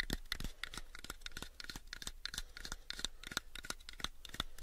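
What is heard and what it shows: Fingertips and short nails scratch and tap the faces of a light, pale, unfinished hollow wooden box, about a 7-inch cube, held up in the air. Quick, irregular dry taps and scratchy strokes come at roughly three per second, each a sharp, bright click that dies almost instantly, with no ringing tone.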